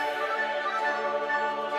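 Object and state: Nothing is struck.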